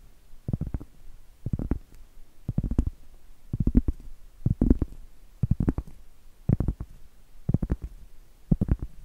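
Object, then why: Round flat cork trivet. Long acrylic nails scratch the face of a round, flat, solid cork trivet held upright. The scratching comes in nine short bursts of quick strokes, about one per second, with a dull, dry, low-heavy scrape and no ring.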